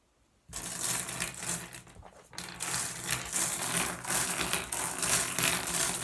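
Fingertips rake and shuffle a pile of small, solid, blue iridescent flat glass gems on a wooden surface. After a brief silence, a dense, bright clicking and clattering of glass on glass begins, eases briefly around the two-second mark, then continues steadily to the end.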